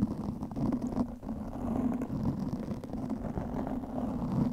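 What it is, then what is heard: Foam microphone windscreen being scratched. Long nails scratch a black foam windscreen covering a microphone. The result is a steady, dense, muffled scratching and rustling with a low hum-like body, strong low-mid energy and almost nothing bright.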